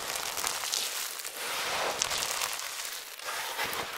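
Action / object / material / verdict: scrape / heap of thin brittle soap flakes / soap / none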